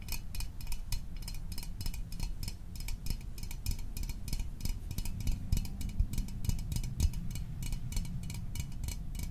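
Fingernails tap rapidly and steadily on the sides of a small, hollow Fanta orange aluminium drink can held close to the microphone. Each tap is a bright, short metallic tick that dies away almost at once, over a low, steady rumble. The result is a quick, even stream of light clicks.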